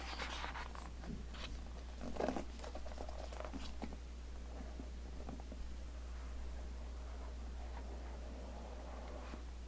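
Fingertips with short nails tap on the glossy printed top of a small, closed, rigid white cardboard iPhone X retail box held in the palm. Soft, quick, dry tapping patters in uneven bursts over a steady low hum. The taps are quiet and die away almost at once.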